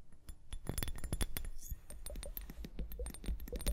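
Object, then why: Small plastic liquid hourglass. A small clear plastic liquid hourglass, full of liquid and beads, is held upright on fur and tapped with long painted nails. A quick, uneven run of short, dry clicks and taps sounds out, each with a soft low thud and a faint bright tick that dies away almost at once.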